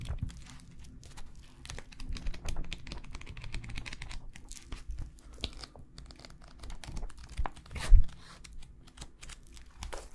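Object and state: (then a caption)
Paper notebook pages being flipped. Fingers riffle and flip through the cream paper pages of a small bound notebook with a black cover, held in both hands in front of the microphones, rubbing the paper. Dense, soft crinkling and papery flicks run throughout, mostly low and muffled, with a louder flip of the pages near the end.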